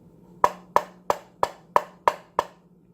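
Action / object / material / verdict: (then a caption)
tap / steel rifle magazine / steel / solid. A steel rifle magazine, one of four being checked, is tapped seven times at an even pace, giving short, dry knocks with a bright tone near 1 kHz that die away almost at once. The solid sound marks it as a good magazine.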